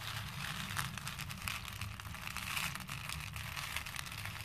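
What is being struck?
Small plastic faux pearl beads in a plastic bowl.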